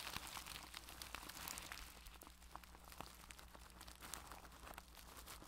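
A makeup brush rubs and presses on clear plastic cling film wrapped over a microphone's mesh head, producing continuous bright, dense crinkling with small sharp crackles. A steady low hum runs underneath the whole time.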